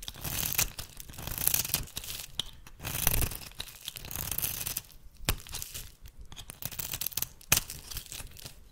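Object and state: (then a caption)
Bar soap being shaved. A small metal blade shaves curled flakes from the end of a solid oval bar of rancid red soap held in the hand. Dry, rasping scrapes come in bright, tearing bursts with a low rumble beneath, punctuated by a few sharp clicks near the end.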